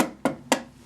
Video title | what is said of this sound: 1930 Singer 101-4 Sewing Machine Demonstration | you remove those four screws cuz you hear it's hollow